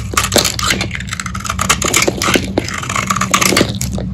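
A metal utility-knife blade scrapes and shaves a hand-sized, solid purple bar of dried Lux soap held in the palm, and crunchy flakes pile up on the table. Rapid, dry, crunchy scraping strokes run steadily throughout with a bright, crackling edge over a constant low hum.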